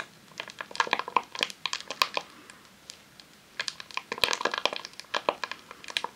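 A long roll of vinyl adhesive sheet in a clear plastic sleeve, resting on a tablecloth, is tapped and scratched with long nails. The result is rapid, crisp crinkling clicks and scrapes with bright plastic rustle and no low end, in two busy bursts separated by a brief quiet pause.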